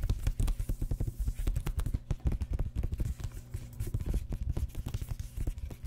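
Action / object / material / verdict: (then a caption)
scrape / paper hardcover book / paper / none. A grey hardcover book is held in both hands above a table while its paper pages are fanned and rubbed with fingertips and nails. The result is a rapid, dense run of short, dull, low tapping and scratching sounds with little brightness, possibly with faint whispering underneath.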